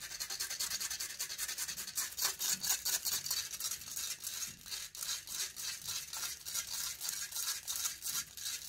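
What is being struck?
Metal mesh microphone grille.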